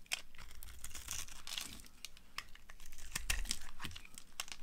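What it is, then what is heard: Dry bar soap being carved. A hand-sized, dry green bar of soap held in the hand is scraped and carved into crumbly cubes with a utility cutter blade. Rapid, irregular bright scraping and crumbly cracking sounds repeat throughout, with a low rumble underneath.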